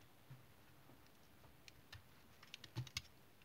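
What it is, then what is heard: Tar soap bar being cut with a knife. A small knife scrape-cuts and shaves pieces off the end of an oval, solid dark brown tar soap bar held in the hand. The result is a quiet series of short, crisp cuts, each with a soft low thud and bright clicky ticks, clustering more quickly toward the end.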